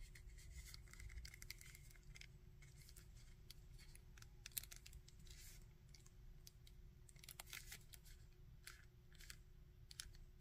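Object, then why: Small plastic action figure. Fingertips and nails tap and scratch the coat and torso of a small grey and red plastic Red Skull action figure. Quiet, bright, crisp clicks and dry scratchy rustles come in irregular bursts over a steady low rumble and faint hum.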